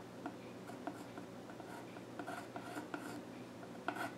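A pencil scratches sketch lines across the flat top of a solid, dark-stained wooden child's stool, making a quiet, dry rasp with six sharper ticks as the tip strikes the wood. A faint steady low hum sits underneath.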